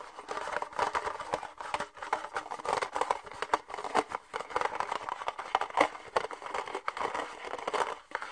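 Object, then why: Thin plastic party cup. An empty, hollow red thin plastic party cup is held in both hands while fingernails tap and scratch its outer wall and the cup is lightly squeezed. The result is a dense, continuous run of quick crinkly clicks and scratchy rasps, concentrated in the midrange with no low end. Each sound stops almost instantly, with no ring.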